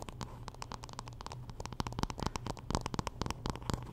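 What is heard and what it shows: Long nails scratch along the handle and back of a wooden paddle hairbrush while the brush is turned in the hand. The result is a quick, uneven run of short, dry ticks and scrapes with bright edges over a steady low hum.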